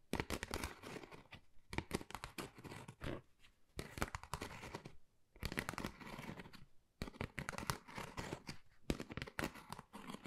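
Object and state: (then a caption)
Textured cardboard folder. Long nails scratch a flat, pale pink, pebble-textured Dior cardboard folder that is thin and hollow. Quick, dry scratching and crackling comes in dense bursts, separated by short pauses. The strokes are broadband with a hollow low body, and each rasp dies away almost instantly.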